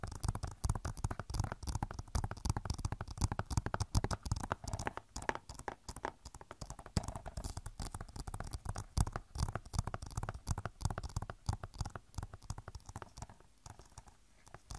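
Long nails tap rapidly and continuously on the back of a hollow plastic Overwatch game case. The dense, dry clicks have a low, hollow thump and die away almost instantly, growing sparser and quieter near the end.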